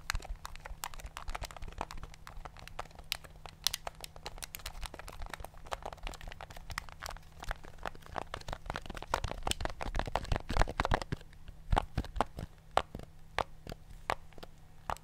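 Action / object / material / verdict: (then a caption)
tap / plastic remote control with rubber buttons / plastic / none. A thumb clicks and presses the rubber buttons of a black plastic TV remote control held in the hand. The result is a rapid, irregular stream of short, dry clicks and crinkly taps over a steady low hum.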